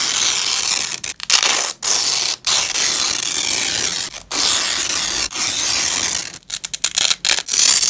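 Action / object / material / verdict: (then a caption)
scrape / nylon velcro strap / nylon / none. A black-gloved hand grips a purple nylon velcro strap fastened on grey fabric and rips the layers apart. Long, bright, crackling tearing runs in several stretches, broken by brief silent gaps. It ends in a quick series of short rips.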